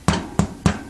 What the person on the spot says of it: when you tap on it with a spoon it does have a hollow sound to it